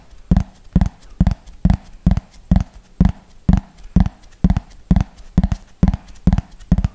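Fingernails tap quickly on a thin, hollow yellow plastic frisbee held close to the mic, making a steady rhythm of short, dull, hollow knocks, often in quick pairs. Each tap is a low thud around 180 Hz that dies away almost at once.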